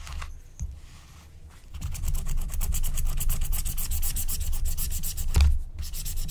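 A wooden stylus scratches line strokes near the edge of a flat, thin, black-coated scratch-art card made of wax-coated paper. After a quieter start, a steady run of fast, rough rubbing strokes begins, about four per second. Each stroke has a bright scratchy edge over a heavy low rumble.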